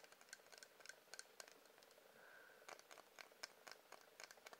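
A wax candle is tapped with quick, uneven light taps, producing a quiet series of short, dry, bright clicks with no low end. A brief soft tone briefly rises between the taps midway through.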